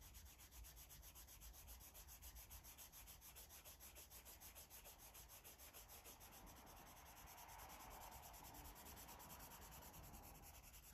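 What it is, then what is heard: Marker coloring on paper. A blue felt-tip marker rubs across a paper coloring book, a thick stack of white pages lying flat, in quick repeated strokes. The soft, dry scratching comes in a steady, rhythmic stream over a low rumble, turning slightly fuller in the midrange toward the end.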